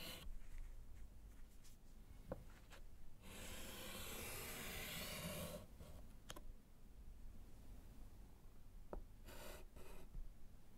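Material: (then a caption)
Slate. A gloved hand writes and underlines with yellow chalk on a small, flat, solid slate chalkboard in a wooden frame. Short dry taps and scratchy strokes are heard, with a long, bright, hissing scrape in the middle. Quieter chalk rubs and a brief burst of scratching follow near the end.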